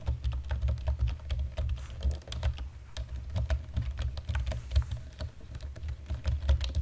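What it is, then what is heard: Plastic computer keyboard being typed on. Both hands type on a black plastic chiclet-style computer keyboard with fingertips and short natural nails. A quick, steady stream of short, dry typing taps plays over a constant low hum.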